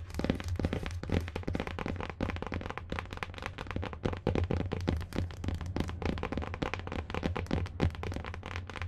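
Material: Cardboard.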